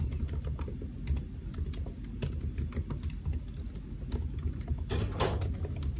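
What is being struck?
Laptop keyboard, plastic keys in a metal body.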